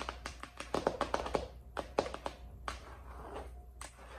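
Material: Plastic.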